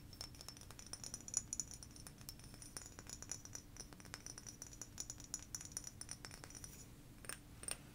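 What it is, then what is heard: Frosted glass bottle tapped with nails. A blue frosted glass sake bottle is held and tapped with long nails and fingertips. Quick, quiet, bright clicks with short high glassy pings fall in an uneven patter over a faint low hum, with a few sharper taps near the end.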